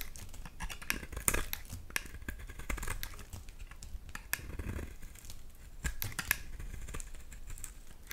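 A knife blade repeatedly scrapes a solid, hand-sized white bar of soap held in hands with pink nails, peeling shavings and crumbs into a bowl of soap shavings below. The scraping makes a steady run of dry, crisp crinkling and short bright ticks over a soft low rumble, with a few sharper snaps standing out.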